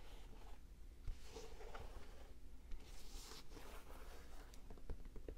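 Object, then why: Leather basketball sneaker. Fingers tap and scratch the pebbled leather upper of an empty white Jordan high-top basketball sneaker with a light blue rubber sole. Soft, dry scratching and rustling drifts over a quiet low hum, broken by four sharp, short taps.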